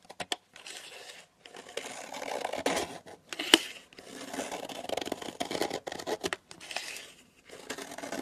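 A metal knife blade shaves thin curled slices off the edge of a long solid pink soap bar lying on a table. The result is a series of soft, dry scraping and crinkly shaving strokes, each short and broadband with a bright upper edge. A couple of sharp clicks come at the start, with brief pauses between strokes.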